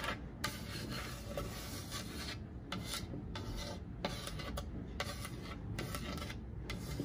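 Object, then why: Painted wooden plank sign. Long acrylic nails scratch and rub along the painted surface of a large, solid, flat wooden plank wall sign painted black with orange "Hocus Pocus" lettering. Bursts of dry, raspy scraping start and stop with brief pauses between strokes, over a steady low rumble.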